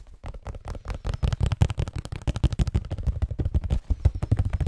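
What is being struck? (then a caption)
Cardboard tissue box. A hollow cardboard Scotties tissue box, likely full of tissues, is held in both hands close to the microphone and tapped and scratched with fingertips and nails. Rapid, dull, low thumps follow one another with very short decay, mixed with faint scratchy texture between the taps.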